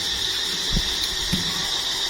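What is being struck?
Nothing is struck.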